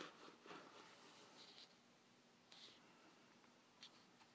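Fingertips and nails scratch and trace across the printed surface of a thin, glossy paper furniture flyer, several pages thick, lying flat on a table. Quiet, irregular rasping strokes give soft papery scrapes with bright hiss, separated by a faint, steady background.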